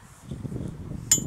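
A single tap on the propeller of a Stinson 108-1 with a Franklin 220, during a preflight walkaround, produces a sharp, bright metallic ring over low rumbling background noise. The clear ring shows the prop has no crack.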